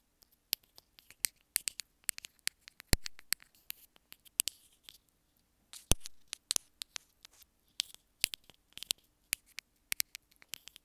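Long acrylic nails tap and scratch along the hollow housing of a small white plastic inline remote and mic on a wired earphone cable, held between the fingers. About 37 sharp, dry clicks come at an irregular pace, with brief scratchy rasps near the 3- and 6-second marks, all quiet and bright with almost no ring.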